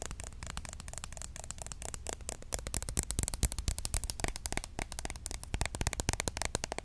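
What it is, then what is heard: Plastic roll-on deodorant bottle. A small, hollow green and pink Mitchum roll-on deodorant bottle with a plastic cap, held upright, is tapped quickly with long acrylic nails. It produces a dense stream of sharp, bright plastic clicks that die away almost instantly, over a steady low hum.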